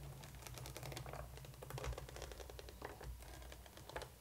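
A hollow black plastic coffin-shaped doll case for a Monster High Neon Frights Draculaura doll, with pink and yellow plastic compartment doors, lies flat while long painted nails on both hands rapidly tap and scratch it. The result is a dense run of quick, dry clicks and scrapes with bright edges, heard over a steady low hum.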